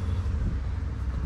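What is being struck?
Nothing is struck.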